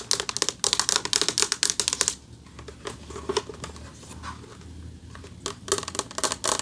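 Fast bursts of bright, clicky fingernail taps on a flat metal plaque, each dying almost instantly.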